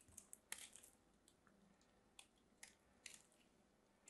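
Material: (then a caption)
Soap. A thin solid piece of pink bar soap held in fingertips is carved with a small craft knife. The result is a quiet series of sharp, bright scraping and crunching cuts with very little low end, each dying away almost instantly.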